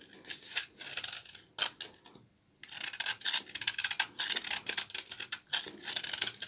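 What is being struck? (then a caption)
Bar of laundry soap scraped with a small blade. A small blade scrapes crumbly shavings off the face of a solid, dry, old orange-brown bar of laundry soap held in both hands. The sound is a run of quick, bright, crisp scraping strokes, with a brief silent pause partway through before the scraping resumes.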